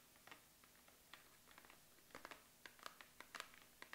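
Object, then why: Cardboard box. Long acrylic nails tap and scratch on the sides and top of a medium-size, hollow, printed cardboard Make Up For Ever Studio Case retail box held in the hands. About a dozen quiet, sharp, bright clicks come at an irregular pace, with soft scratchy rustles between them. Each tap dies away almost instantly against a faint, steady background hiss.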